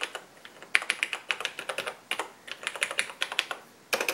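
Fingertips of both hands type continuously on the black plastic keys of a vintage cream-colored Radio Shack portable computer, TRS-80 Model 100 style, with an LCD screen, resting on a workbench. The result is rapid runs of short, bright, clicky keystrokes with almost no low end, falling into bursts with brief pauses between them.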